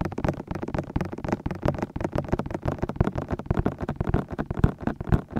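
Fingertips tap and grip the white, hollow silicone ears of a binaural microphone. A dense, uneven stream of soft, dull, low thuds sounds close and muffled, with almost no high end.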